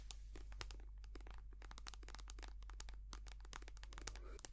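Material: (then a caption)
Soft plastic. A small white soft plastic squeeze tube of hand cream, hollow and filled with cream, is held upright and tapped and scratched with long painted nails. A dense, rapid stream of crisp, bright clicks and crinkly scratches runs throughout over a steady low hum.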